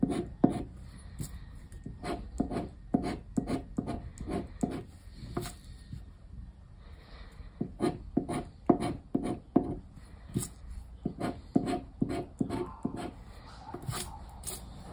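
A hand scratches the lower part of the grid on a thin coated-paper scratch card resting on a wooden table, using a round black plastic scraper. Many short, dry scraping strokes come in quick bursts, with a pause around the middle, each giving a brief gritty rasp with a low-mid body and bright crisp edges that stop almost instantly.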